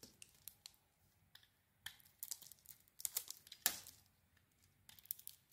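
A red and pink bar of soap held in the hand is carved with a blade into flakes. Soft, bright, crisp scraping and shaving sounds come in short irregular strokes, with a louder cluster of cuts in the middle and a sharper stroke near the end. The sound is quiet and thin, with almost no low end.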